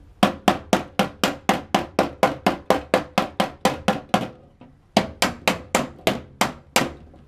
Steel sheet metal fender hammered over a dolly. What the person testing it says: You hear how is a solid sound? That's what we're trying to achieve.